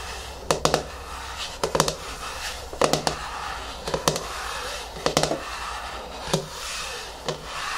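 Fingernails scratch and rub the top of the lid on a medium yellow plastic hair mask jar, a tub with a lid resting on a wooden table. Short, sharp tapping clicks come in small bursts over a soft, steady rubbing hiss, with each click dying away almost at once.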